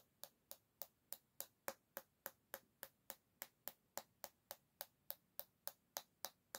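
A single long fingernail taps the solid bamboo back of an oval hairbrush, held by the handle. Twenty-three sharp, dry clicks come at a steady pace of about three a second, each dying away almost at once with a faint woody tone near 540 Hz over bright upper crackle.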